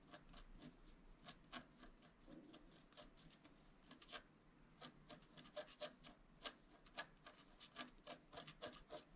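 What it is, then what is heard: Scratch-art paper sheet being scratched. A flat, black-coated scratch-art card, steadied by one hand, is scratched along its bottom edge with a wooden stylus in repeated strokes. Each quiet, dry, bright rasping scratch is short and sharp, and the strokes become more distinct in the second half.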